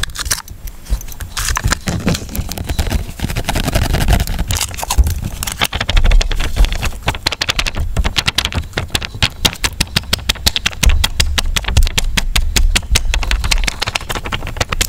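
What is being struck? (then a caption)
Sealed plastic water cup. A small, clear, full and sealed plastic water cup with a printed foil lid is held in both hands while fingertips and nails tap and scratch its ridged sides. Dense, rapid, bright clicks and scratchy rasps run throughout over a deep, hollow low thump from the water-filled cup.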